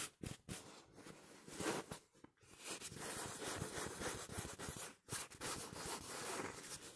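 A small, soft stuffed pillow in a smooth printed polyester-like cover, pink and blue with flowers and Portuguese text, is scratched and rubbed close up with fingertips and short nails. The result is a dense, bright, papery scratching and rustling that swells and fades, broken by a few short pauses.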